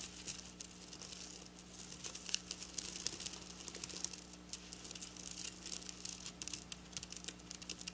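Long black nails scratch and tap rapidly across silver sequin fabric held close. The result is a dense, bright stream of crisp clicks and crinkly rattling with no ring after each hit, over a faint steady low hum.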